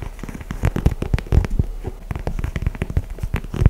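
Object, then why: Leather high-top sneaker. Fingertips and nails tap and scratch an empty, held-up white and grey leather high-top sneaker in Jordan 4 style, with mesh panels and plastic wings. A rapid, uneven run of short, dull, low thumps is heard, with soft scratchy crackle between them. Each tap dies away at once with no ring.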